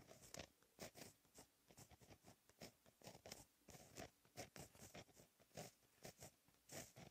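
A blue gel pen held in the fingertips writes Korean text on a flat sheet of black lined textured paper. It makes a rapid series of short, dry scratching strokes with bright, high hiss and brief quiet gaps between them.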